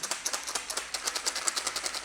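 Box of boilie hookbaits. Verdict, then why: Dry. A box of older wafter and pop-up boilie hookbaits is shaken, and they rattle loudly like stones in a rapid run of 17 bright, sharp clicks over about two seconds. The rattle shows the baits have dried out and gone stale from sitting in the store a long time, since fresh, wet baits do not rattle.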